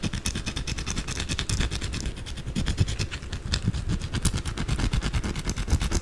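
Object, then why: Bar of soap. Long blue acrylic nails scratch fast and aggressively at a white, solid, rectangular bar of soap held in both hands over soap shavings. The result is a dense, continuous run of rapid scraping strokes with a heavy low rumble and a thin bright crackle on top, steady in loudness throughout.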